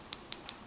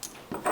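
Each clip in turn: First: acrylic watch crystal, light and hollow. Second: mineral glass watch crystal, solid.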